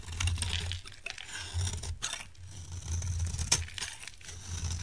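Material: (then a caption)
Soap. A solid rectangular bar of dried orange-tan soap is held in the hand while a utility knife blade scrapes crumbly flakes off it. Dry, crunchy scraping comes in uneven bursts with bright, brief clicks and crackles, set over a steady low hum.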